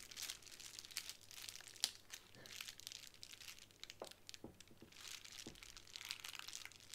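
Long acrylic nails and fingertips tap, scratch and press the bubbles of a small square sheet of clear plastic bubble wrap lying flat on a wooden table. The result is a soft, steady stream of bright, high crinkling and rustling, scattered with quick, crisp ticks and clicks that die away almost instantly.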